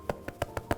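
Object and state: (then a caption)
Soda bread loaf, baked through (hollow). Five quick taps on the underside of a cooled loaf of homemade Irish soda bread. Each one makes a short, dull, hollow knock that dies away almost at once. The hollow sound shows the loaf is perfectly cooked through.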